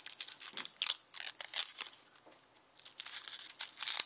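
Fingernails scratch and peel the dry, papery outer skin of a whole, solid, palm-sized yellow onion held on a bamboo board. Quick, bright crackling and crinkling bursts come in an irregular run, with a quieter stretch in the middle before the rustling picks back up. The sound has almost no low end and sharp, dry attacks that die away at once.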